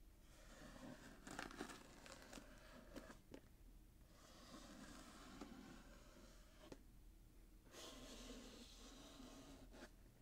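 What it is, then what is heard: Wrapped cardboard gift box. A fingertip and nail scratch the gold glitter-striped wrapping paper near the satin bow of a small, hollow, closed cardboard box held in the hands. The sound is a steady, dry crinkling and scraping with a low hollow body, broken by a few sharp, bright ticks and brief pauses.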